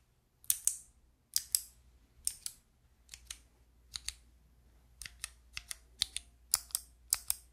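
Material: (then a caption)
Plastic. Long nails click and tap the white plastic keycaps of a handheld fidget toy with a clear plastic frame. Twenty short, bright plastic clicks come mostly in quick pairs and stop dead, with no ring and near-silence between them.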